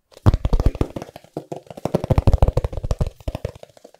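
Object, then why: Hardcover book. A thumb taps and knocks on the cover of a medium, solid, closed hardcover book with a decorative patterned cover, held in one hand. Rapid, dull, low knocks follow one another in quick bursts, with a short pause after the first second. Each knock is dry and stops at once, with no ringing.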